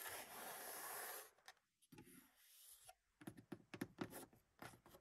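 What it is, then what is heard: Vinyl-covered car sun visor. Fingertips and long pink nails rub and scratch across the lowered black vinyl padded sun visor, with its vanity mirror, in a Mercedes 200. A steady, bright rubbing hiss lasts about a second, then fades to softer scrapes. A quick, uneven run of short scratches with a low-mid body follows.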